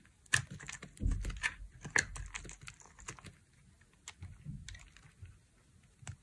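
A dry, solid light blue bar of soap held in the hand is carved into flakes with a utility knife blade. Short, irregular crisp scrapes and clicks with bright, crackly edges sound over soft low thumps, and each cut dies away almost at once.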